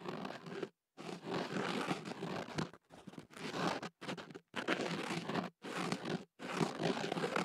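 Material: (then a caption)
Paper. A thin white ear pick is inserted into a hollow white kenaf paper tube wrapped around a microphone and scratched against the inside of the paper. It makes dense, crunchy, crinkling scrapes in steady bursts separated by brief silences.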